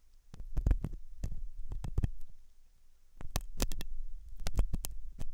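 A thin hooked metal dental tool scratches inside the ear canal of a white silicone dummy ear on a binaural microphone, which looks soft and solid. Close up, this makes deep, muffled low thumps and rumbling scrapes. They come in two busy clusters separated by a brief quieter lull, with faint bright clicks riding on top.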